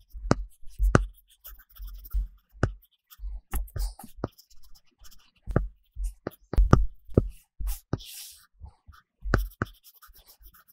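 A plastic stylus tip held in the fingers scratches across a large iPad glass screen fitted with a matte paper-texture film, making coloring strokes. The sound is a series of short, dry taps and scratchy strokes, with low thuds and brief high bright ticks. The strokes come in quick bursts separated by short pauses.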